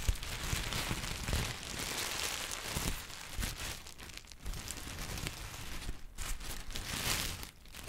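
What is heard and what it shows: Yellow-green textured tissue paper is folded and crumpled between the fingertips of both hands. The result is a steady, bright crinkling and crackling rustle, with soft low bumps as the paper is handled, easing briefly near the end.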